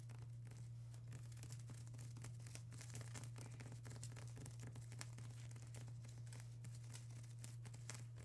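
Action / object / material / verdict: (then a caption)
tap / plastic bubble wrap sheet / plastic / none. Long acrylic nails of both hands tap and scratch a flat sheet of plastic bubble wrap, making a quiet, continuous stream of fast crinkly clicks and bright scratchy rustles. A steady low hum near 125 Hz runs underneath the whole time.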